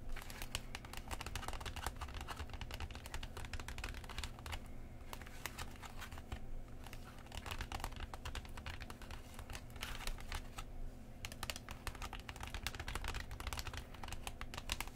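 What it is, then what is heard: Plastic blister pack tapped and scratched. Long nails and fingertips tap and scratch along the lower plastic edges of a Pokemon three-pack blister, a clear plastic shell over a cardboard backing holding sealed packs and a coin, lying on a cloth. The result is a quiet, steady stream of rapid, crisp clicks and crinkly scratches with bright edges, each dying away almost instantly. A constant low hum sits underneath throughout.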